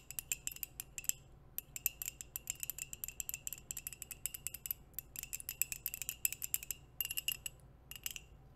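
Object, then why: Ceramic coffee mug tapped with nails and metal rings. Long nails and metal nail rings tap quickly on a hollow white ceramic coffee mug with a printed logo. The result is a rapid run of sharp, bright clicks with brief high ringing tones, broken by short pauses, over a faint low hum.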